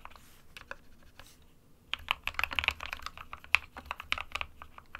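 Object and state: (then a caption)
Plastic mechanical keyboard. An SK61 compact 60% mechanical keyboard with a plastic case, white and grey plastic keycaps and a hollow body with switches sits on a desk mat while both hands type with their fingertips, pressing and tapping the keys. Short, bright clacks come mostly from the switch mechanism, sparse at first and then a quicker, denser run of keystrokes with little low end and almost no ring.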